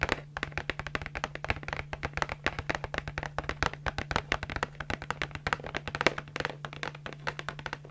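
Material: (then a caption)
Cardboard. A small, hollow, printed yellow and red cardboard candy box is held in both hands and tapped and scratched with long acrylic nails. The result is a quick, continuous run of dry, short taps and scratchy clicks with almost no ring, over a steady low hum.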